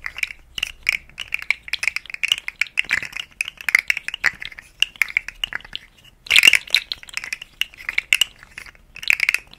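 A rainbow segmented, hollow plastic articulated slug fidget toy is held by the fingertips and bent so its segments click. Many quick, dry, bright clicks and light rattles come in uneven bursts with no low end, and a louder, denser cluster of clicks comes about two-thirds of the way through.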